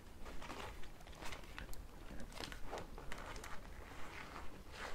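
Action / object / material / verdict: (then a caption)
scrape / thin plastic zip bag with small tools inside / plastic / none. Fingertips with long red nails crinkle and handle a thin, transparent pink plastic zip bag holding manicure tools. Quiet bursts of bright, crackly plastic rustle repeat at a fairly steady pace over a low, constant rumble.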